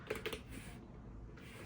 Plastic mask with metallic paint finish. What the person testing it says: It's got kind of a tinny noise as you tap on it, but it does feel, I mean, it feels plastic